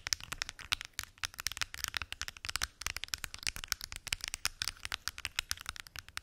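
Long acrylic nails tap and scratch on the lids of a large, hollow, translucent plastic weekly pill organizer with many small lidded compartments. A fast, continuous run of sharp, bright clicks and ticks is heard, each dying away almost instantly with very little low end, mixed with light scratching between taps.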